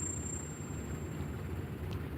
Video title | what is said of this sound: Coin glass, foreign coins, Silver dollar at melt? Fossil rock opens to show both sides of fossil. | this is going to hurt your ears